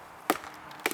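A mallet strikes a solid spot on the trunk of a veteran chinquapin oak, away from the hollow area. Two short, sharp wooden knocks sound about half a second apart, each dying away almost at once with no low boom. The trunk sounds solid at this spot.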